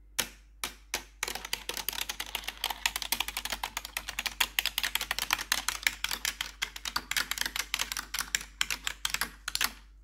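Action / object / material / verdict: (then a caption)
tap / plastic computer keyboard tapped with metal nails / plastic / none. Metal claw nails rapidly tap the keycaps of a black plastic RGB computer keyboard, starting with a few separate hits and then running into a dense stream. Each strike is a short, bright click with almost no low end and very little ring.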